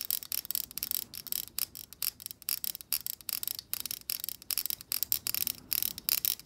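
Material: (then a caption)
Plastic. Long acrylic nails flick and strum the tips of the stiff plastic bristles on a black plastic hair brush held horizontally. A rapid, uneven series of bright, dry clicking and rasping bursts with almost no low end, each snapping off instantly with no ring.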